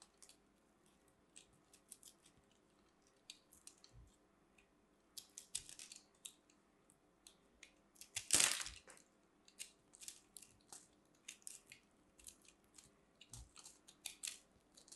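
A solid pink grated-soap ball, held in the hand, is scraped and cut with a metal blade tool, throwing off crumbly shavings. A long series of quiet, bright, crisp scrapes and crunches follows, with one louder, harsher crunch about halfway through.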